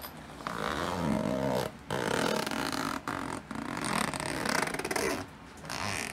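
A hand with long light-tipped nails pulls the small metal zipper slider along the side seam of a black woven nylon fabric backpack resting on a wooden floor, while the other hand holds the bag. Repeated raspy zip strokes run back and forth, separated by a few brief quiet pauses.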